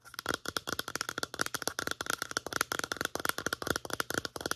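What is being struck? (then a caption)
Plastic lotion pump bottle. Long nails tap and scratch quickly along the sides of a medium-size white plastic lotion bottle with a pump, making about 26 short, dry clicks. Each tap carries a faint hollow plastic tone around 1.4 kHz with bright scratchy edges and almost no ring.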